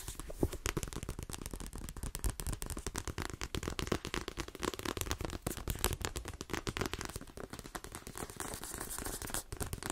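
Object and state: Paperback book tapped with nails.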